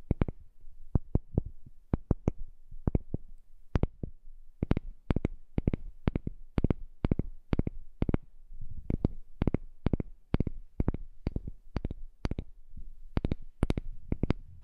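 A heart-shaped piece of wood is tapped in a steady run of short, dry knocks with irregular spacing for about fifteen seconds. Each tap is low and dull with almost no ring, separated by near-silence.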